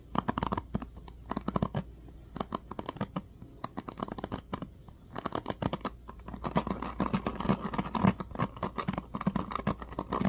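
Fingertips rake and flick the teal-tipped plastic pins of a small black plastic paddle hairbrush held close to the microphone. Rapid clusters of dry scratching and plucking clicks come in bursts with brief pauses, then grow denser and more continuous in the second half over a faint steady low hum.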